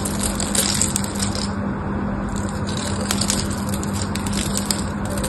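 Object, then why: Bar of soap shaved with a knife. A solid, dry pink rectangular bar of soap with a diamond pattern is held in one hand and shaved with a small black craft knife. The blade crunches and scrapes off flakes in a dense, continuous run of crisp crackles over a steady low hum.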